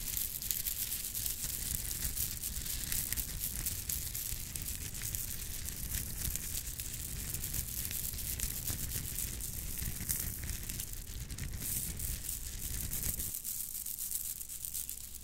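A bundle of shiny purple plastic Mardi Gras-style bead necklaces is held up, shaken and run through the fingers. It makes a steady, dense clatter of bright, crisp clicks over a low rumble. Near the end the low rumble drops away, leaving a thinner, high rattle.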